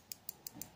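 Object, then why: Glass rattle bead inside a plastic lure. Glass beads used as rattles inside a big-bait fishing lure are tapped together, giving five sharp, bright clicks with almost no ring and a faint low rumble between them. Glass beads knocking on each other sound different from metal beads hitting glass.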